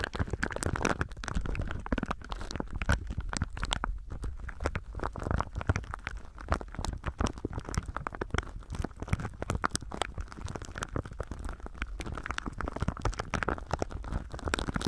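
Both hands squeeze and rub clear thin plastic film wrapped over a binaural microphone with their fingertips, crinkling it throughout. The result is a dense, nonstop stream of close crackles and sharp crinkly pops over a heavy low rumble from the handling.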